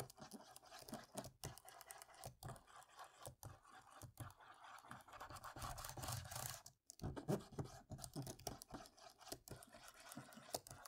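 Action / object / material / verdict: scrape / plastic laptop keyboard rubbed with a cotton swab / plastic / none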